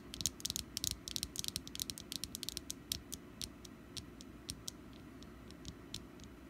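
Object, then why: Wax pumpkin-shaped candle. Long nails tap and scratch the ridged surface of a small solid orange wax pumpkin candle, making crisp, bright clicks over a low steady hum. The clicks come in a dense, quick flurry at first, then thin out to sparser taps toward the end.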